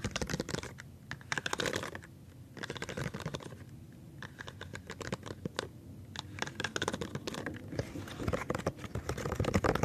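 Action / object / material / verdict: tap / silicone pop-it fidget toy / silicone / none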